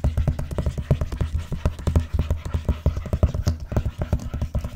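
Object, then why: Vinyl-covered ring binder. Long nails tap and scratch the cover of a large, closed, blue vinyl-covered binder lying flat on a box. A quick, steady run of soft, dull taps with very short decay is heard, mostly deep and low in tone with a faint scratchy texture between them.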